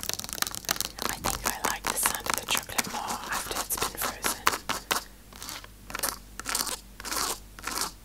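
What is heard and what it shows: Long acrylic nails tap and scratch fast across the squares of a large, solid, segmented dark chocolate bar lying flat on a table. It makes a rapid run of crisp, bright clicks and scrapes, then slows into longer rasping strokes with short pauses between them.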